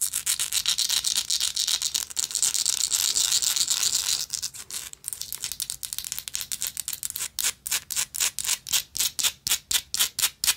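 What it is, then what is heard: Textured metal lighter scratched with nails. Long nails scratch and rub a small, hollow, gold-tone textured metal lighter, making a dense, bright, hissing scrape for the first few seconds. The scratching then breaks into choppier strokes and settles into quick, separate, rhythmic rasps, about four per second, all high and thin with no low end.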